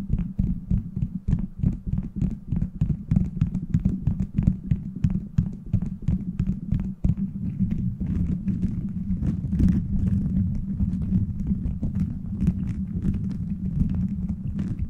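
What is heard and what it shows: Fingers scratch the beads of a plastic gummy-bear bead cover fitted over a microphone. This produces a steady, dense stream of short, rapid clicking and rustling taps over a deep, rumbling low drone. The texture thickens into a more continuous scratching toward the end.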